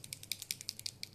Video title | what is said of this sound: maquillage et papotage | on les secoue bien, vous entendez? Il y a une petite bille à l'intérieur qui fait que ça mélange bien l'encre